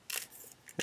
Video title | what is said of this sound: MG JESTA Work In Progress 2 / MG Jesta Review | got some beads in there and if you guys can hear that to shake it up